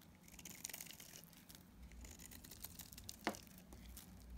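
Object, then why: Bar of dried soap cut with a metal blade. A metal utility-knife blade scrapes and cuts into a dried, solid green, palm-sized bar of soap. The result is a quiet, dry, crinkly scraping with bright crackles throughout and a sharper snap just past three seconds.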